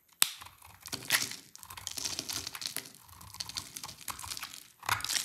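A utility knife blade carves a solid, dry orange Rexona-type soap bar held in the hand into crumbly shavings. The result is bright, crisp scraping and crumbling with a steady stream of fine crackles, opening with a sharp snap and rising in louder bursts near the start and end.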